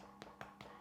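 Three quick taps on a freshly baked wholegrain spelt loaf just out of the oven give short, hollow knocks, each dying away quickly, showing the bread is baked through. A faint steady hum sits underneath.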